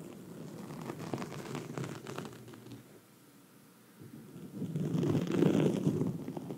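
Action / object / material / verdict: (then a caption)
scrape / foam microphone windscreen / foam / none. Long red nails on both hands scratch a black foam microphone windscreen, making a dense, muffled rustling scrape that sits mostly in the low range. The scratching runs steadily, drops to near silence for about a second in the middle, then comes back louder and fuller toward the end.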